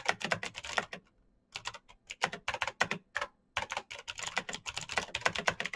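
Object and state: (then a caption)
Plastic mechanical keyboard. Fast fingertip typing on a black Razer BlackWidow mechanical keyboard with plastic keycaps on clicky green switches, producing rapid, bright, sharp clicks with very short decay. The bursts of keystrokes pause briefly around one second and again near three and a half seconds before resuming steadily.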